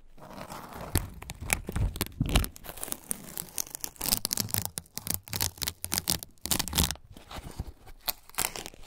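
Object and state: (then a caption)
Fresh corn husk being torn. Fingertips peel and tear fibrous strips of fresh green husk lengthwise from a single husk-covered ear of corn. The result is a dense run of sharp, crisp tearing and crinkling rips with bright, fibrous edges and soft low thumps underneath, each burst cutting off quickly.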